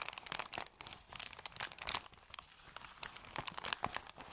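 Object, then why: Thin paper bag. Hands scrunch and fold a thin, empty, crumpled white paper bag, producing dense, crackling crinkles. The sound is bright and papery with almost no low end, a rapid run of short, sharp crackles that swell and ease off over about four seconds.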